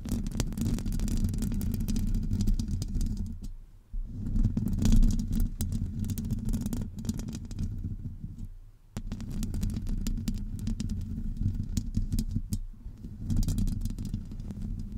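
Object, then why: Metal mesh microphone grille. Long acrylic nails of both hands scratch the hollow domed metal mesh grille of a Blue Yeti USB microphone. This makes a dense, rumbling, low-heavy scraping with crackly bright edges, running in long continuous passes broken by brief pauses near 4 and 9 seconds.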